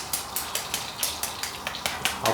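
Freshly fried chicken with a golden crust, coated without egg or soy sauce, makes twelve quick, bright, dry crackles as it is handled, each a short, sharp crunch fading fast over a light sizzle. The crust sounds very crispy, and little oil drips off because it doesn't absorb much.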